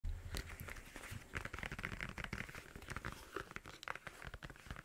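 Long blue nails scratch and tap the padded faux-leather ear cups and plastic headband of black over-ear headphones held in both hands beside a microphone. The result is a quiet, rapid stream of crinkly, crunchy scratches and short dry taps over a low thumping rumble, with brief brighter clicks.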